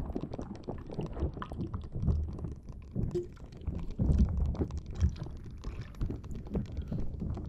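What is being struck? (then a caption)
Rubber spiky squishy ball. A green rubber or silicone spiky puffer ball, held in both hands, is squeezed and scratched with long dark-blue nails so its spikes rub together. The result is a steady stream of dense, low, squishy rubbing and soft crackling, with little high-end content, that swells and eases as the ball is worked.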